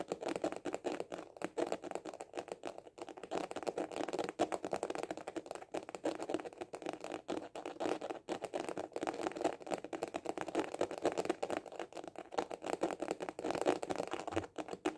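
A hollow hard-shell glasses case with a printed covering is held horizontally and tapped quickly with fingertips and short nails. The result is a dense, continuous patter of short, hollow, mid-pitched clicks that die away almost at once, with only brief pauses over the 15 seconds.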